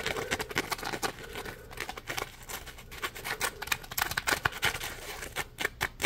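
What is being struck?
Polymer foam scrub sponge.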